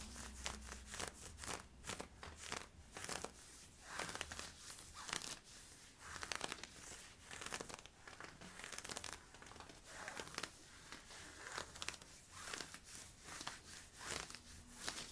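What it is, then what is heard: Polyester-spandex stretch leggings scratched. Fingernails scratch worn camo polyester-spandex stretch leggings at the waist and hip, making a steady run of quick, bright, crinkly scratching strokes. The strokes come in short bursts of varying loudness, with a faint low hum underneath.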